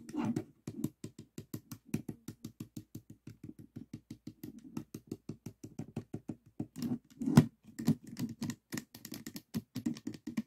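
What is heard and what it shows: Fingertips and nails tap on the top and side faces of a small stickerless plastic 3x3 Rubik's cube with a hollow mechanism. The result is a steady run of quick, dry, hollow knocks with a low body and brief bright clicky edges that die away almost instantly. A few louder, rougher bursts come through near the end.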